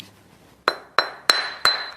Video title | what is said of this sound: Escape to the Country Season 2022 Sussex Series 14 75🏠 Full Episodes | you can hear it's ringing quite well